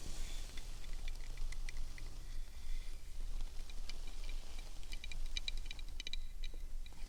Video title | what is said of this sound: 💜✨Tingle Club Members Appointment - ASMR Roleplay✨💜 | It's amazing how many different sounds you can get from one piece of wood.